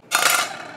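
A red Hyundai Card the Red Edition 4 metal-plate credit card is dropped or tapped once, producing a single clear, bright metallic clink centered near 1.4 kHz that rings out briefly. Its metal plate material makes it sound different from an ordinary plastic card.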